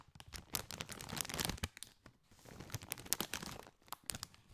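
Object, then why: Foil-lined plastic snack bag. A partly filled Doritos chip bag, made of metallized foil-lined plastic, is crinkled and scratched with fingertips. Dense bursts of bright, crackling crinkles come with short scratchy rustles and brief quiet gaps, sounding close and dry.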